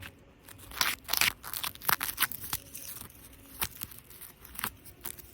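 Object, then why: Plastic artificial grass. Plastic artificial grass decoration in a cafe is scratched and rubbed, giving irregular bursts of crunching, tearing, crinkly sound. The sound is bright and mostly high-pitched, with little low end.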